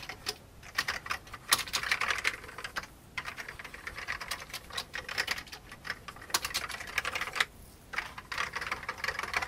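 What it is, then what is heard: Plastic computer keyboard being typed on. Fingertips type on the keys of a full-size vintage beige plastic computer keyboard, producing rapid, bright, clacky keystrokes in quick bursts. The typing briefly pauses twice before resuming at a steady pace.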